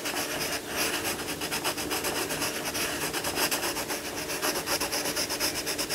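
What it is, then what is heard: Crayon scraping on a paper page. A dark crayon or coloured pencil is rubbed and scratched back and forth across a thin paper page of an open colouring book on a wooden table, colouring in a lion cub picture. It makes a steady run of dry, bright, scratchy strokes at roughly four per second, with almost no low end.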